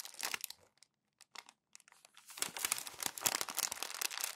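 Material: Coated paper.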